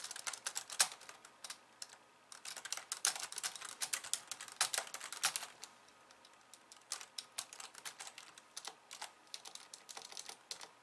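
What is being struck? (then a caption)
Plastic computer keyboard. Fast typing with long painted nails of both hands on a pink low-profile plastic keyboard with white keys, resting on a wooden desk. Dense bursts of bright, crisp plastic clicks and taps come in rapid runs, with brief quieter pauses near 2 and 6 seconds. The sound is thin and high with no low end.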